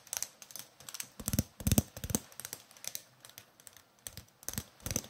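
A green and white roll of adhesive tape with a hollow core is held up and tapped and scratched on its side and edge with fingernails. Quick, irregular, dry clicks and scrapes come in clusters, with a few fuller, lower taps standing out.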